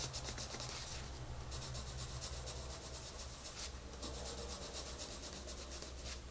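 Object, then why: Wooden colored pencil on a paper page. A wooden colored pencil is rubbed back and forth over the page of an open paper coloring book to color a rabbit's face, with the other hand resting on the paper. Quiet, steady scratchy rubbing strokes come in bright, hissy bursts over a constant low hum.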